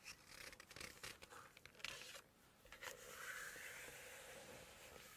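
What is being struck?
Glossy paper cookbook page.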